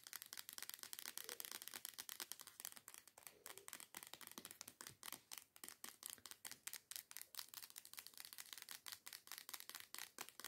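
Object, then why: Plastic body scrub bottle. A teal plastic body scrub bottle, lying on its side and apparently full, is tapped and scratched quickly with long nails. The result is a dense, steady run of crisp, bright clicks with a scratchy texture and no ring after each tap.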